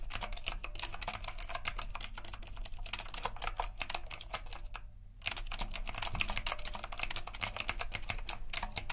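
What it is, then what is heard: Retro mechanical keyboard with round plastic keycaps. Fingertips type rapidly on the round plastic keycaps of a retro typewriter-style mechanical keyboard with a metal frame. Dense, bright clicky keystrokes run continuously, with a brief pause near the middle before the fast typing resumes over a steady low hum.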